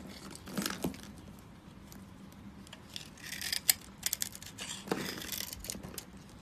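A metal blade scrapes and cuts across a solid, palm-sized rectangular bar of dry blue-and-white striped soap, pre-scored into small cubes and held in one hand. Short bursts of bright, crunchy scraping and crisp crackling clicks are heard as crunchy bits flake off, with quiet pauses in between.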